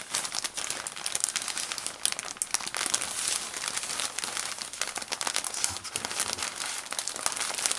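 A jumbo-size soft plastic bag filled with cotton balls is held in one hand while the fingertips and thumb squeeze and rub the thin plastic. It gives a steady, bright crinkling and crackling with many quick rustles and almost no low end.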